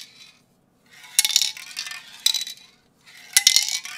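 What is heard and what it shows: A medium metal Autolack acrylic aerosol spray paint can, hollow and holding paint with a mixing ball inside, is held in one hand and shaken and tilted close to the microphone. The ball rattles inside in three bursts of bright, sharp metallic clicks and clinks, separated by brief silences. The clicks are short, with almost no low end and little ring.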